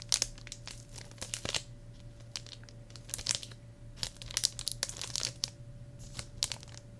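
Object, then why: Plastic shrink wrap on a hardcover book. Fingertips squeeze and crinkle the loose, clear plastic shrink wrap still sealing a medium hardcover journal with a cheetah-print cover. The result is a series of sharp, bright crackles and crinkles with quiet gaps between them, over a faint low hum.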